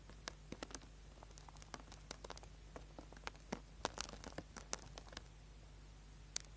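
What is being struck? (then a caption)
Small solid soap bar scraped with a metal tool. A small, solid orange bar of soap, held in the hand, is scraped with a small metal tool, with shavings falling onto a board. A quick run of short, dry, crisp scratches reaches up into the high end, some sharper than others, over a faint, steady low hum.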